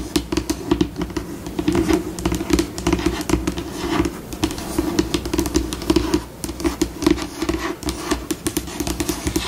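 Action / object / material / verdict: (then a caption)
scrape / laminate tabletop / laminate / none. Long acrylic nails scratch, tap and scurry across a flat, solid white glossy laminate tabletop close up, changing between slow and fast pace. The sound is a dense stream of short, dry taps and scratchy strokes with little ring, rising and falling in bursts over a steady low body.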